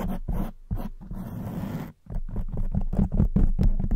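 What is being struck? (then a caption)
Foam microphone windscreen. Long nails on both hands scratch and rub a black foam windscreen covering a silver microphone head. The sound is a close, muffled, low rumbling scrape, with quick bursts, a steadier rubbing stretch, a brief near-silent gap, then faster, louder scratching to the end.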